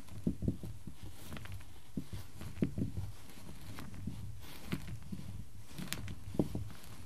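Small solid light-wood cubes resting on a black surface are arranged and tapped with fingertips and nails, so they click against each other. The result is a quiet, scattered series of short, dull wooden clicks and soft taps that die away almost instantly, with a mostly low, muffled tone.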